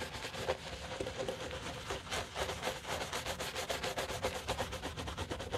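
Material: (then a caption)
Leather. A soap-foamed black leather shoe, held in a black-gloved hand, is scrubbed with a wooden-handled bristle brush. Brisk, fairly steady back-and-forth bristle strokes give a wet, frothy rubbing sound with a light mid-range rasp.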